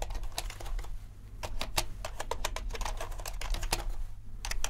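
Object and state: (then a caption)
Mechanical keyboard being typed on. Fingertips type on the black and white plastic keycaps of a compact mechanical keyboard, producing a rapid, irregular run of short, sharp clicks with bright tops. Beneath the keystrokes runs a steady low hum.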